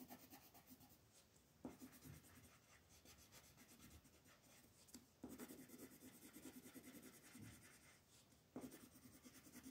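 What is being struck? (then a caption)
Wooden colored pencil on a paper sheet. A wooden colored pencil makes small shading strokes on a flat white paper mandala coloring sheet held by fingertips. The clip is a quiet, continuous scratchy rubbing and rasping, with a few sharper attacks where new strokes begin and a low, papery body under a soft, bright hiss.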